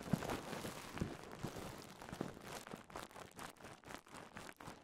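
A rolled strip of clear polyethylene bubble wrap with air-filled bubbles is twisted and pinched between fingertips to pop the bubbles. Several sharp, low pops ring out over a steady crinkling rustle, which breaks into quieter, clustered bursts of crackling toward the end.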